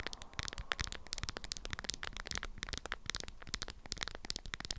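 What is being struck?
Beeswax-coated fabric wrap around a small item.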